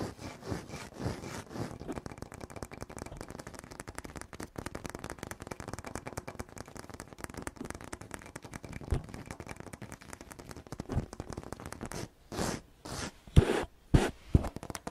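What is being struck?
Polished granite floor tile.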